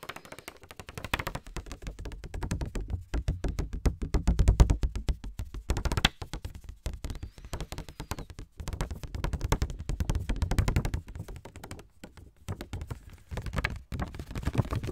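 A small pink lined paper index card pad, held in the hands, is tapped and scratched with fingertips and nails. Dense, rapid, dull taps and soft scratches with a low, thumpy body keep up throughout, with short pauses between bursts.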